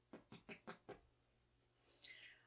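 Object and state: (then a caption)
Baked bread loaf, hollow (done). A homemade bread loaf, just out of the oven and still very hot, is tapped five times, giving short, dry, hollow knocks that fade almost instantly. After a pause, a brief higher-pitched sound slides downward in pitch. The hollow sound shows the loaf is baked through.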